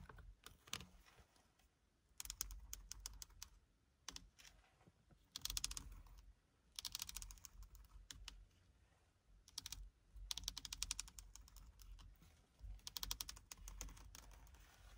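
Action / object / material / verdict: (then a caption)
scrape / leather-wrapped steering wheel rim / leather / none. Fingertips with short lilac-painted nails scratch and tap along the leather-wrapped steering wheel rim of a Seat Leon FR, a solid padded grip with red stitching. Bursts of quick, dry, bright scratching and clicking come in clusters separated by quieter pauses. Each tap dies away almost instantly, with a soft low thump underneath.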